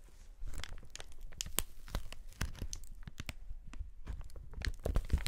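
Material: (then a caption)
Plastic film. Gloved fingers and fingertips squeeze and crinkle a large, clear polyethylene sheet of hollow, air-filled inflated air pillows held up in the air. The result is a dense run of dry crinkling and crackling with sharp, bright snaps over soft, low thumps of the pillows being pressed.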